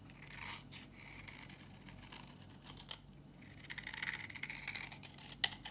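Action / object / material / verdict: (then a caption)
scrape / bar soap scraped by a metal blade / soap / none. A thinning, solid, dry yellow bar of soap held in the hand is scraped with a metal box-cutter blade, shaving it into crunchy flakes. Quiet, bright, dry scraping and crackling continues throughout and grows busier in the second half. A sharp, crisp click stands out near the end.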